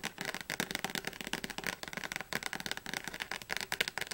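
Long nails tap rapidly on the spine and cover of a thick blue Oxford paperback dictionary. The result is a fast, uneven stream of dry, bright clicks with almost no low end, each tap dying away almost instantly.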